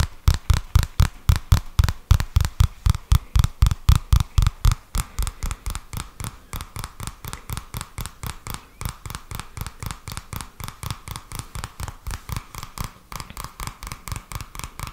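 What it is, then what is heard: Paper notebook, card cover. Fingertips tap and scratch on the thin card cover of a purple softcover paper notebook held up in the air, making about 60 quick, dull, short taps. The first few seconds carry deeper, heavier thumps, then the taps grow lighter and papery for the rest of the clip.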